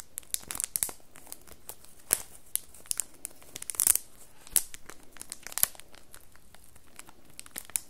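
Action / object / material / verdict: scrape / cardboard soap box in cellophane wrap / cellophane / none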